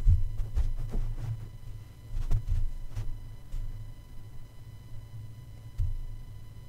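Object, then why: Metal mesh microphone grille tapped with a soft plush paw. A plush toy paw taps down repeatedly on the black metal mesh grille of a red condenser microphone with a hollow head. Each tap lands as a soft, muffled low thump with almost no ring, over a steady faint electrical hum.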